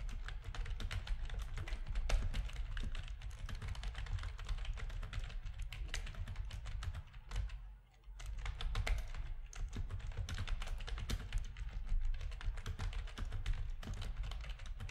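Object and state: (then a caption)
Plastic computer keyboard being typed on. Fingertips of both hands type steadily on a full-size black plastic RGB-backlit keyboard with a hollow plastic housing, resting on a desk. Rapid, dense key clicks and low, hollow thocks run throughout, with a brief pause around the eight-second mark before the typing resumes.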